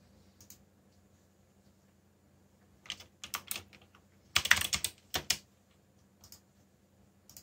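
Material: Plastic.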